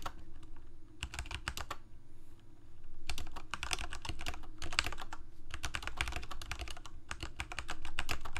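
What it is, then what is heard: Plastic mechanical keyboard. Fingertips of both hands rapidly press the plastic keycaps of a full-size Corsair mechanical keyboard with mechanical switches, a hollow plastic case and blue backlight. Quick, sharp clacking keystrokes come in uneven bursts with brief pauses, each click bright and short over a low, steady hum.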